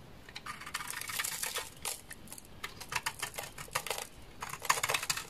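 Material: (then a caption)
Soap. A large, solid beige laundry soap bar with a stamped logo, dry and held in the hand, is scraped into flakes with a utility knife blade. Quick, dry scraping strokes come in uneven bursts, each a crisp, bright rasp with little low end and almost no ring.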